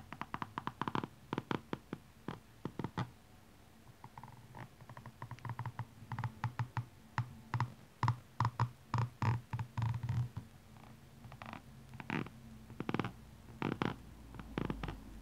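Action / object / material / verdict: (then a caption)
scrape / rubber shoe sole / rubber / none. The pointed end of a metallic makeup brush handle scratches and taps along the red ridged rubber sole of a blue rhinestone high-heel shoe held in hand. The result is an irregular run of short, dry clicks and scrapes with a midrange tick near 1.2 kHz over a soft low thud, each dying away almost instantly.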